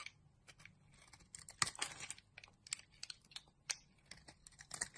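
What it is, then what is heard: Bar soap being carved. A utility knife blade scrapes and carves shavings from a solid pink rectangular bar of soap held in the palm. The result is an irregular series of short, crisp, bright scraping and crackling strokes with almost no low end, heard at a quiet level.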